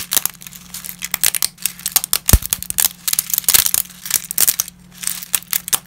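Gloved fingertips snap small, dry, brittle lasagna shards over a heap of broken pasta, making a rapid string of sharp, bright cracks and crinkles. Each crack dies away almost at once, over a steady low hum.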